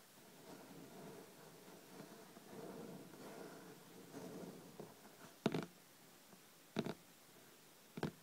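Long red-painted nails lightly scratch the cloth-covered board cover of a thick, solid hardcover book with a paper page block, lying flat on a dark table. The scratching makes a soft, continuous, low-mid rustle. It is followed by four short, dull taps on the top cover that stop quickly, with quiet gaps between them.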